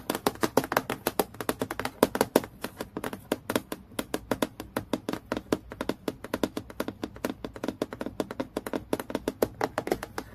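Fingertips and long nails tap rapidly on a transparent acrylic plastic clipboard lying flat in low light. About 70 quick, dry clicks come in fast bursts with very short ring and a midrange tone around 430 Hz.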